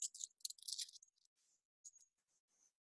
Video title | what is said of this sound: Rock Show and Tell | I have some smaller pieces right here and they sound like glass